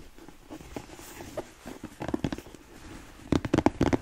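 Long nails tap the rounded toe cap of a black smooth-leather boot held by the toe, and the hollow boot gives a dull, knocking resonance around 300 Hz. Faint scratchy taps lead into two clusters of sharper, quick taps with a very short ring.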